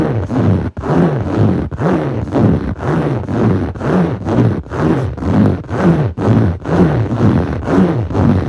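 Clawed fingertips scratch back and forth across a blue textured foam yoga mat, a soft solid sheet. Each stroke makes a rough, low, growl-like rasp with a rising and falling hum around 176 Hz and almost nothing bright on top. The strokes repeat steadily, about two per second, with brief gaps between them.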